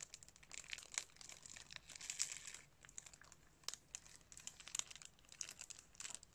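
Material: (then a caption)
Cellophane. Fingertips crinkle and scrunch the thin cellophane wrap on a plastic DVD case held close. The result is a quiet, bright, dense crackle of many sharp crinkles and snaps with almost no low end, rising into louder scrunching bursts and then easing into scattered pops.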